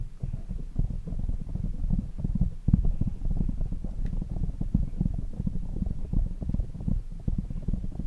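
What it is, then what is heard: Foam microphone windscreen. Fingertips of both hands rapidly tap and rub a black foam windscreen on a desk microphone. The result is a dense, continuous stream of muffled, boomy low thuds and scuffs with almost nothing bright above them, sounding close and heavy.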